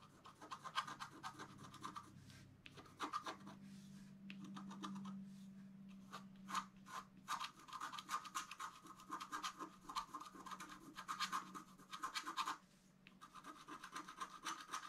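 A bamboo stylus scratches fine lines on the right side of a flat scratch-art card made of black wax-coated paper. Quick, dry, bright scratching strokes come in irregular bursts with short pauses, over a faint low steady hum in the middle of the clip.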